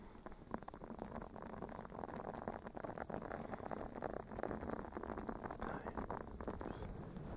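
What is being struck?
Silicone bristle scrubber pad.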